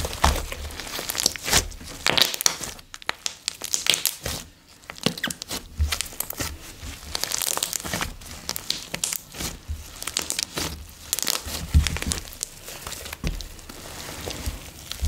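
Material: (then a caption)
Slime. A ball of blue slime filled with foam beads is held above a bamboo board and squeezed and kneaded with both hands. Dense, bubbly crinkling and crunchy squishing continues throughout, with bright popping crackles and soft low thumps as the slime is pressed.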